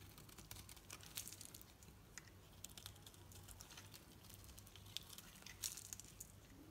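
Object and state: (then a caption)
Bar soap being shaved with a knife. A metal knife carves shavings from the surface of a solid green bar of painted soap with an orange edge, held in the hand. Soft, crisp scraping and crinkling continue throughout, with frequent bright little ticks and a few sharper snaps, over a steady low hum.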